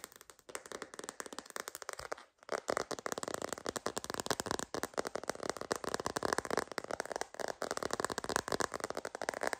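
Long green nails tap rapidly on a sparkly glitter phone case with a rose-gold rim, a hollow shell of hard plastic. The taps are quick, dry and clicky with no ring, falling into a dense, steady patter after a brief pause near the start.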